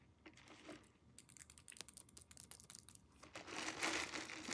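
Long nails tap quickly on the walls of a clear plastic cup filled with ice and liquid, held in the hands. The bright, clicky taps come in a fast, uneven run, and they grow into a louder, denser crackle toward the end.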